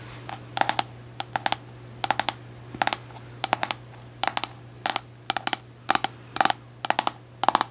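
Long acrylic nails tap a white plastic Cantu cosmetic jar with an orange lid, held in the hands, striking both its label side and its lid. The taps come in quick, crisp clusters of two to four clicks with a hollow plastic tone around 840 Hz and bright, short tops, each dying away almost at once over a faint steady low hum.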